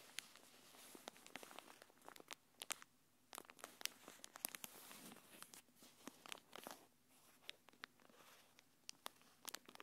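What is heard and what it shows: A thin, translucent plastic packaging wrapper is held between the fingers of both hands and crinkled and rubbed with long painted nails. It produces quiet, bright crackling with many sharp crinkle snaps scattered over a soft rustling bed.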